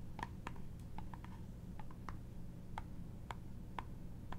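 Long nails tap and scratch the brown embossed wooden surface of a small hollow trinket box with a metal clasp, held in both hands. Quiet, dry, bright ticks with a woody tone near 930 Hz die away almost at once over a steady low hum.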